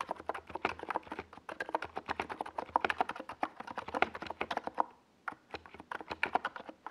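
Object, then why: Plastic mechanical keyboard. A compact 68-key NiZ Plum Atom 68 plastic mechanical keyboard with a white plastic case and purple and yellow Domikey Gas Attack SA plastic keycaps sits on a desk pad while the fingertips of both hands type fast across the keys. The result is a rapid, dense stream of short, dry, mid-toned plastic clacks with very little low end, pausing briefly near the five-second mark before resuming.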